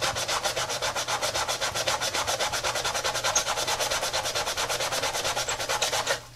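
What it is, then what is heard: Sneaker sole being scrubbed. A tie-dye Adidas textile-and-rubber sneaker lies on its side on a granite counter while a soapy brush in a gloved hand briskly scrubs its foam-and-rubber midsole. About 25 rapid, steady back-and-forth strokes make a bright, hissy rubbing over a faint low hum, and the scrubbing stops abruptly near the end.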